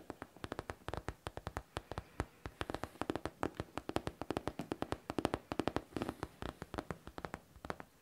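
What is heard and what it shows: Long teal-painted nails tap and scratch the top panel of a hollow, medium pink faux leather backpack with metal studs and a zipper. A rapid, steady run of short, dry taps with a hollow mid-low body sounds throughout, with soft scratching between them and almost no ring after each hit.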